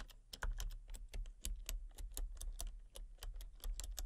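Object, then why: Plastic computer keyboard. Fingertips and long painted nails type rapidly on a full-size backlit plastic RGB computer keyboard with hollow key switches and colour-cycling lights. A quick, steady run of short, dry clicks and clacks has a hollow low thump under each bright tap, and every keystroke dies away almost at once.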